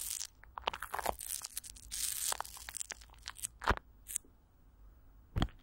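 Fingertips and long nails of both hands scratch and rub thin clear plastic wrap, with Vaseline, stretched over a large hollow metal mesh microphone grille. Irregular crinkling crackles, bright hissy rubbing swells and sharp close-up taps come and go over a faint low rumble. A couple of louder thumping pops stand out near the end.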